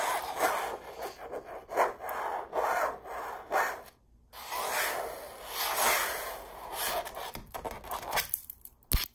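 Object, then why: Stretched canvas print on a wooden frame. Long purple acrylic nails scratch and trace over the textured surface of a large red rose canvas print, a hollow-backed canvas stretched on a frame and hanging on a wall. Dry, raspy rubbing strokes rise and fall in waves, with a short pause in the middle and one sharp tap near the end.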